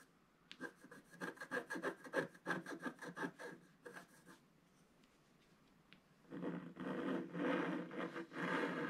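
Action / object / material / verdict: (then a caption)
scrape / black-coated scratch art paper scraped with a wooden stylus / coated paper / none. A wooden stylus held in the fingertips scratches the black coating off a roughly A4 scratch art page in a book lying flat on a table, revealing the colours underneath. Quick, rhythmic dry scratching strokes run for about four seconds, then fall quiet. A denser, louder, continuous scraping follows toward the end.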